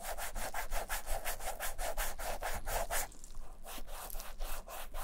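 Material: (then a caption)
Leather. A vintage black leather Camper shoe, held in a bare hand, is rubbed and buffed on its side and toe by black nitrile-gloved fingers while being cleaned and restored. The result is a steady run of quick, even, brushy swishes with bright friction hiss over a low rumble, turning softer and less distinct after about three seconds.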